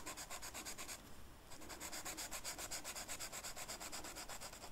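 The felt tip of a blue marker is rubbed across a flat black velvet-flocked paper sheet while coloring a flower. It makes a quick, steady series of bright, scratchy back-and-forth strokes, about four per second, with a brief softer pause near the one-second mark before the strokes resume.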